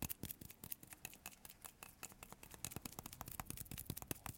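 Short fingertips tap quickly on the surface of a solid, palm-sized yellow bar of Marseille soap embossed "Citronnelle," held in both hands, in a sticky tapping motion. The result is a quiet, rapid stream of short, sticky clicks with bright tops and soft low thuds that stop instantly.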